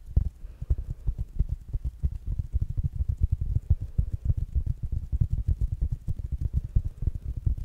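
Fingertips and nails tap quickly on the fabric mesh cover of a small, rounded black smart speaker held in the hands. The result is a fast, steady stream of dull, deep thumps with almost no ring and no brightness, like a soft drumroll.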